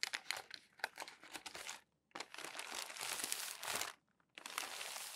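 Palms and fingers rub and smooth crumpled glossy magazine pages resting on a tall stack. Bright, dense crinkling and crackling comes in three bursts, split by two brief silences. There is almost no low end.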